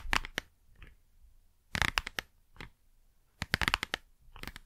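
Long nails tap and scratch the front of a small, hollow Blu Tack cardboard box as it is moved around the microphone. Irregular clusters of sharp, dry, bright taps and scratchy rasps alternate with softer brushing sounds and short quiet gaps, with no lingering ring.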